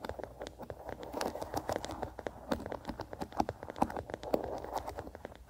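A small wooden bristle hairbrush is held on its side in one hand while the fingertips and nails of the other hand scratch and strum its bristles. The result is a quiet, steady run of quick, dry flicks and scratches, each a short bright tick over a soft midrange rustle, with no ring after each stroke.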